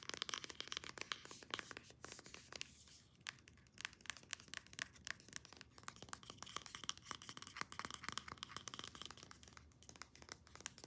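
A white plastic serum pump bottle, held upright, is tapped and scratched fast with long painted nails. A dense run of quick, bright plastic clicks and scratchy rasps, centered around 3.2 kHz, continues at a quiet level with a brief lull near three seconds. Each tap dies away almost instantly, with very little low end.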